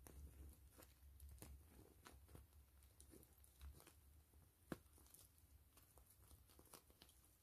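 Long nails scratch, tap and crinkle a gray translucent plastic mesh zipper pouch, hollow and slightly puffed, held in both hands. Quiet, irregular crinkly scratching sits over a low rumble, with one sharper, brighter tap standing out near the end.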